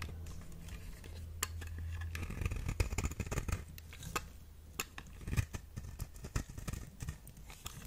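A knife blade carves and scrapes the surface and edge of a solid orange square soap bar, with shavings falling away. Sharp, crisp cutting clicks and scrapes come in quick uneven bursts over a steady low hum.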